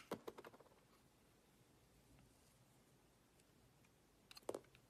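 A utility-knife blade cuts and scrapes the silver-painted coating off a rectangular solid laundry soap bar with a pale interior, held in hand. A quick run of crisp, dry scraping clicks opens the clip, followed by a long quiet stretch, and then a second short burst of scraping near the end. The peeled shavings give a soft, crackly sound with a gentle bright edge.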